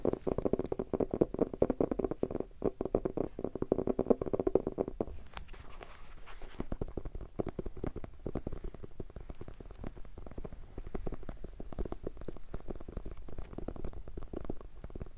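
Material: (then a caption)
Cardboard. Fingertips and short nails tap and scratch the cover and edges of a small, solid red hardcover notebook. A fast, dense run of low, hollow taps carries a faint tone for about five seconds, then a brief bright scratching passage gives way to quieter, steady tapping and rubbing until the end.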